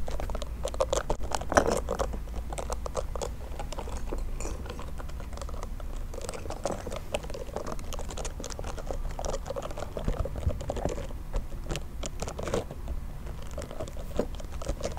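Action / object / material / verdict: tap / small plastic toy bear / plastic / none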